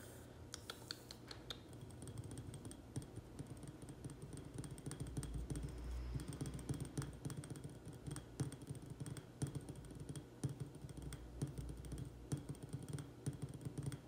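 A small cream-colored ceramic urn planter, filled with soil and a succulent and standing on a table, is tapped quickly on its sides with the fingertips and nails of both hands. The result is a steady stream of fast, quiet clicking taps with dull low-pitched bodies and very short ring.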